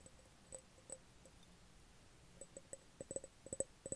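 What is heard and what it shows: An empty, medium-size clear glass jar with no lid is held over a bed and tapped with the fingertips, giving soft, hollow taps. Each tap has a short tone around 535 Hz with faint bright overtones. The taps come irregularly and grow more frequent and slightly louder toward the end.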